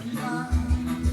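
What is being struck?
Nothing is struck.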